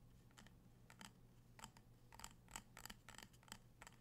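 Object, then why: Glass jar filled with candle wax. Fingertips and nails tap the glass sides and rim of a small amber glass jar filled with candle wax, held in the hands. The quiet, irregular taps give bright clicks with brief glassy pings near 890 Hz that fade almost at once, over a steady low hum.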